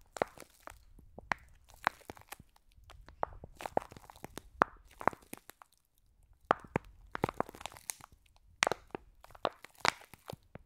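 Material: Foam beads.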